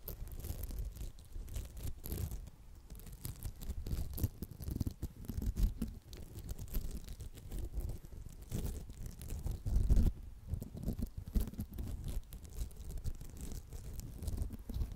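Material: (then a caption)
Foam. Long acrylic nails scratch a round, palm-sized red polymer foam smiley sponge, making a continuous soft, dense scratching and rubbing texture. The sound is low and muffled with rapid tiny scrapes, swelling slightly louder around the middle.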